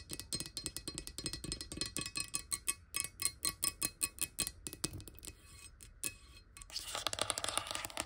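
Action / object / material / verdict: tap / glass bottle with water / glass / none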